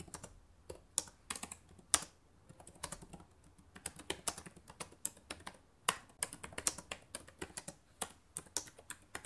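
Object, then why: Plastic laptop keyboard. Fingertips and long nails type quickly on a black laptop with plastic keys. Fast, irregular runs of sharp, bright clicks and taps come with very little low-end body, and each keystroke dies away almost instantly.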